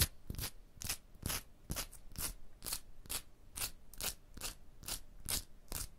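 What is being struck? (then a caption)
Textured stone block wall. Long blue nails tap and scratch a solid, rough, striated textured stone block wall in fourteen quick, slightly uneven strokes. Each stroke is a short, dry burst of bright, gritty scraping over a soft low thud, and it dies away almost at once.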